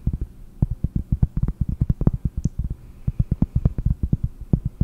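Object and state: Cork board tapped.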